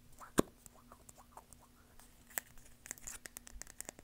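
Long painted nails tap and scratch a small, hollow, egg-shaped plastic lip balm container with a cream body and blue cap, held in the hands. Soft, irregular clicks and scratchy patters come with two sharper taps standing out, all quiet and dry with no ring.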